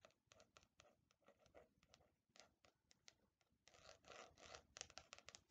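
Long nails tap and scratch across the cover of a black faux leather Death Note replica hardcover notebook, held in both hands and tilted side to side. Quick, bright, dry scratching strokes come in an irregular rhythm, swelling into a denser, louder stretch of rubbing and scraping near the end.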